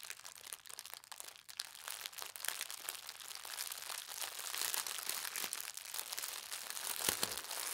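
Folded thin white tissue paper printed with gold stars is pressed and then unfolded by fingertips with long red nails. It makes a dense, continuous, bright crinkling with almost no low end, growing slightly louder toward the end.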